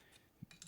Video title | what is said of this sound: Atlantis 1957 Chevy Nomad Model Kit - Paint Prep Fitment | the door, I could tap it both ways and it's not loose anymore. It's attached well.